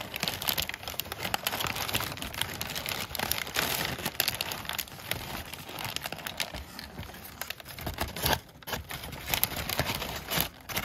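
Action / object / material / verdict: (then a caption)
scrape / crumpled kraft packing paper / paper / none. A large crumpled sheet of brown kraft packing paper is crinkled with fingers and scratched with a thin black tweezer tool. The result is a dense, continuous stream of dry, bright crackling and rustling that never fully stops, with sharp, quick-decaying crunches and louder bursts scattered throughout.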